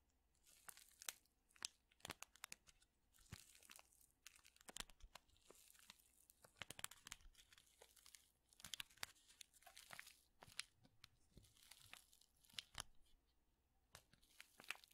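A small, flat Lipton paper-foil tea bag envelope is crinkled between fingertips and fingernails. The result is a steady stream of bright, crisp crackles and sharp ticks with almost no low end. The sound stays quiet overall, with short louder snaps scattered throughout.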